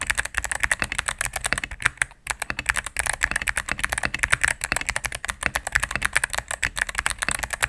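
A cream full-size mechanical keyboard with plastic keycaps on a solid plastic case is typed on rapidly with fingertips and medium-length nails. It makes a dense run of sharp, bright clacks with almost no ring, broken by a brief pause just after two seconds.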